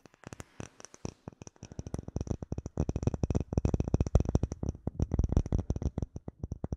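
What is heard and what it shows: Fingernails tap and scratch a solid, clear rectangular acrylic plate with an embedded bubble pattern. The taps are short, dry clicks with a low thump and almost no ring. They start sparse, then come in a quick, steady flurry.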